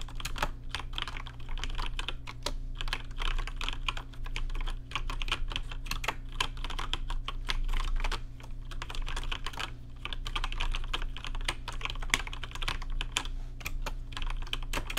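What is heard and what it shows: Fast typing with fingertips on a rainbow-lit plastic RGB mechanical keyboard with plastic keycaps. Dense, rapid clicky keystrokes run continuously with brief pauses, each a sharp, short, bright tick over a steady low hum.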